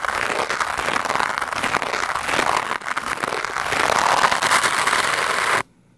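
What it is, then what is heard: Foam microphone windscreen being scratched. A black foam microphone windscreen is scratched and brushed fast and hard with a lime-green plastic scrub brush. It makes a dense, crackling scratch centred in the mids with a bright hiss and almost no low end. The sound briefly dips near the middle, builds slightly louder, then cuts off abruptly to near silence just before the end.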